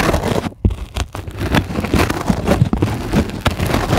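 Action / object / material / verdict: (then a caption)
scrape / polyethylene foam sheet / polyethylene foam / none. Long glittery acrylic nails on both hands scratch and tap a flat, solid white closed-cell polyethylene foam sheet lying on a dark surface. The result is a dense, crackly patter of dull, low-heavy taps and scratchy rustles with short bright clicks, broken by a brief near-silence before a sharp tap about half a second in.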